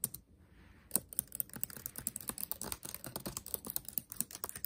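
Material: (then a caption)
Plastic. Fingertips tap on the black plastic keys of a backlit laptop keyboard set in a metal body. After a few opening taps and a short pause, a steady run of quick, dry, bright clicks follows, each one dying away almost at once.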